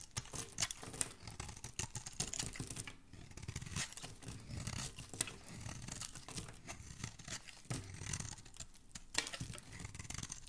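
A metal blade scrapes and shaves curls off the surface of a solid green, palm-sized bar of soap held in the hand. The sound is a quiet, steady run of dry, crackly scratching and shaving strokes, with bright, crisp edges over a soft, low body and occasional sharper bursts.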